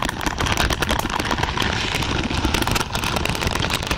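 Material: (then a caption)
Plastic. Long purple nails on both hands scratch and rake across a large lavender pad of thin, flexible plastic or silicone pins. The result is a dense, continuous crackling rustle with quick bright clicks throughout and a low rumbling undertone.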